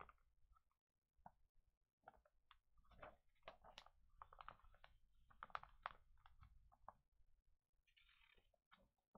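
An open glossy paper pet magazine lies on a table while hands lift and flip its pages and fingertips brush across the paper. Quiet, irregular bursts of crisp crinkling and rustling come and go, with brief brighter swishes as pages turn, separated by near-silent pauses.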